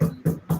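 Three knocks on a wooden surface, made for luck. Each is a short, dull, low thud with a slight tonal body, dying away quickly.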